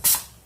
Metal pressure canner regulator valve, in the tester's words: So he's up to pressure. If I tap that, you can hear that instantly.